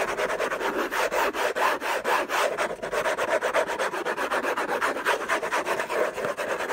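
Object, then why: Paper-covered cardboard box. Fingertips and short nails scratch the lid of a closed, long rectangular orange Hermès cardboard box covered in textured paper, its contents unknown, as it lies on a fluffy blanket. The scratching comes in fast, uneven strokes, producing a dry, papery rasp centered in the midrange with a bright hiss on top and no low end.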